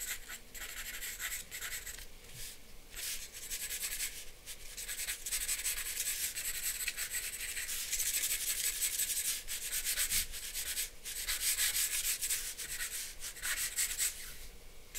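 A charcoal pencil rubs and scratches across a flat sheet of drawing paper, sketching outlines and shading. Quick, irregular strokes make a dry, bright, hissy scratching with brief gaps between them, growing a little louder and denser in the second half.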